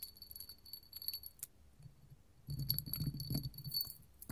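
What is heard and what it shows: A small clear hobnail glass candle holder, a hollow cup covered in bumps, is tapped with long gold metal finger claws, first while held in the hand and then after being set on the table. Quick, irregular clicking taps give bright, short glassy ticks with a high ring. When the cup rests on the table, the taps gain a fuller low knock beneath the ticks.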